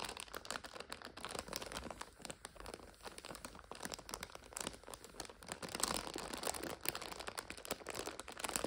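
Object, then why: Plastic wrapper of an instant noodle multipack. Long nails tap and scratch the wrapper of a full plastic multipack of instant noodles lying flat, while fingers crinkle it. A steady stream of bright, crisp crackles and quick taps plays throughout, with very little low end.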